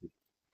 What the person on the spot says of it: you can hear my ring tapping on it. That's uh ceramic.